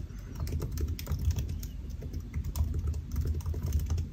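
Fingertips of both hands type on a solid silver aluminium laptop with black plastic keys, resting on a white desk. Rapid, soft key taps sound in a steady stream with a dull, low thump and brief clicky ticks. Each tap dies away almost instantly.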